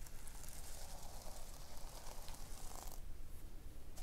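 Long painted nails scratch across the sequins of a pink sequin-covered notebook lying on a wooden table. The result is a steady, quiet scratchy rustle with a soft bright hiss over a constant low rumble, its texture changing slightly near the end.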